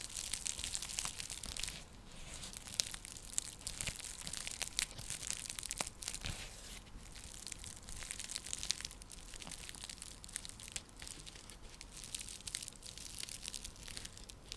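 Long nails scratch a round, flat, coiled woven straw/seagrass coaster or trivet while it is moved side to side. The result is a steady, quiet stream of dry, bright crinkling and crackling scratches with little low end and occasional sharper clicks.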